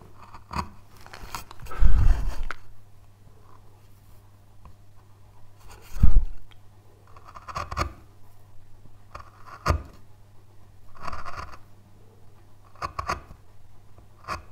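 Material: Basswood.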